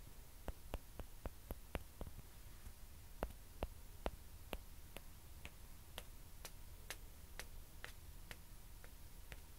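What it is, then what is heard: Plastic ping pong ball. Two small hollow white plastic ping pong balls, held close, are tapped with long nails and knocked against each other. About twenty sharp, bright clicks die away almost instantly over a quiet, steady low hum, coming quickly at first and then more spaced out.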